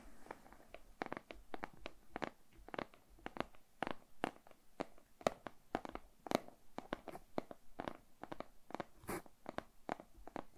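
A closed, small printed cardboard retail box for a Xiaomi Redmi Note 10S smartphone, likely with the phone inside, is held in both hands and scratched and tapped with fingertips and nails. Around three dozen quick, dry taps and clicks with a mid-range papery tone are heard over soft, continuous scratching. Each tap stops almost instantly, leaving no ring.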